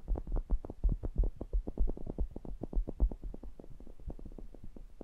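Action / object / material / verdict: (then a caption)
tap / metal mesh grille of a small pencil condenser microphone / metal mesh / none. Fingertips press, tap and rub the mesh grilles of a pair of small cylindrical metal pencil condenser microphones. The result is a rapid, irregular stream of short, deep thumps and muffled bumps, almost all low-end boom with almost no brightness. Each touch dies away almost instantly, and the tapping grows softer and busier toward the end.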